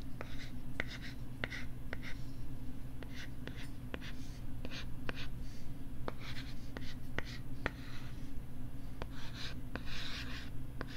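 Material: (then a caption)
Plastic. A thin, flat pink plastic LCD writing tablet is held against the side of a microphone while fingertips tap and scratch its back. Sharp, dry clicks sit over soft scratchy rustles and a steady low hum.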